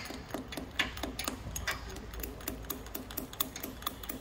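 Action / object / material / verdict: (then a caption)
tap / steel anchor bolt driven down inside a concrete hole / steel / none. A loose steel wedge anchor bolt that was chopped off and driven deep into its concrete hole with an air hammer is tapped from above to locate it below. The result is a steady run of light, sharp metallic ticks, roughly two per second, with a few brighter clicks and short ring. The tapping is there to find the buried bolt; it could be driven further down.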